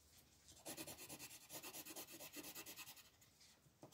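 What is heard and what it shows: A hand rubs and scratches an orange wooden colored pencil across a flat, thin printed paper coloring book page lying on a table, in short back-and-forth shading strokes. After a quiet start, a rapid series of soft, bright, papery scratches pulses steadily, each stroke a brief rasp with little low end.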